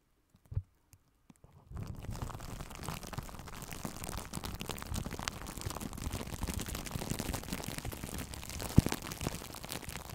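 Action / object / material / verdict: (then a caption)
scrape / plastic bubble wrap / plastic / none. Plastic bubble wrap wrapped around a microphone is gripped, scratched and rubbed with long nails and fingertips of both hands. After a near-silent start with a few faint taps, a dense, continuous crinkling and scratching texture sets in, heavy in low, muffled rumble with occasional sharper crackles.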